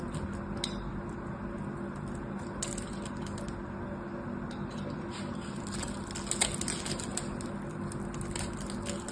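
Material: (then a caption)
Soap. A craft knife carves cubes out of a solid blue bar of hard soap held in the hand. Short, bright, crisp cutting clicks and scrapes sound scattered over a steady low hum, with a slightly sharper crack near the end.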